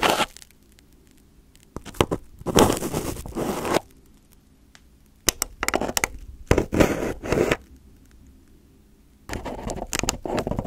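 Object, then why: Aluminium foil over a microphone. Crumpled aluminium foil covering a microphone head is poked, pressed and picked at with a fingertip and nails. Loud, close bursts of bright crinkling and crackling come in clusters, separated by quiet stretches with a faint low hum underneath.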